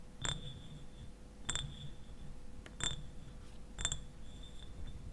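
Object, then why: Small glass bottle, partly filled. Fingernails tap the sides of a clear glass eyewash bottle standing upright and partly filled with liquid. Each tap gives a short, bright glassy ping with a ringing tone near 3.6 kHz and a higher overtone. The pings are spaced about a second apart over a low, steady background rumble.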